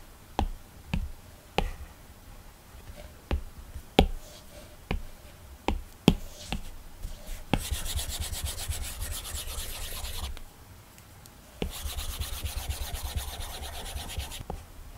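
A plastic stylus tip taps sharply several times on the color palette of an iPad's glass screen fitted with a matte, textured Paperlike plastic protector. It then rubs broad coloring strokes across the film in two sustained passes. The strokes make a bright, raspy scratching hiss with short low thumps between them.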